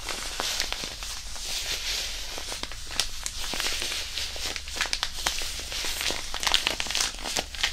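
A small white disposable hand warmer, a non-woven fabric pouch filled with iron powder, is crumpled and kneaded with the fingers right beside the microphone. It gives a continuous bright crinkling and gritty rustle with many sharp, quick crackles over a faint low hum.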